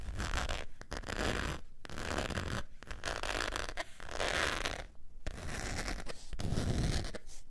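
Long nails scratch across the surface of a long beige saffiano-textured faux leather wallet with a zipper, lying flat. Steady bursts of dry, rasping scratching run in strokes separated by brief pauses, with a heavy low-end body and some brighter scrape on top.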